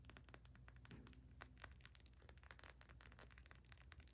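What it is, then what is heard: Small glass essential oil bottle. Long nails rapidly tap and scratch a small amber glass essential oil bottle, moving across its ridged black plastic cap, its label and the glass. The result is a quiet stream of sharp, dry clicks and brief crinkly scrapes that die away instantly, over a steady low hum.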